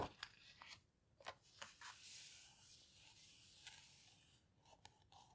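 Fingertips and palms with long red nails press and rub the heavy paper pages of an open houseboat book, then turn a page by hand. Short crisp taps and crackles mix with a long, bright rustling swish through the middle. The sound stays quiet and papery, with little low end.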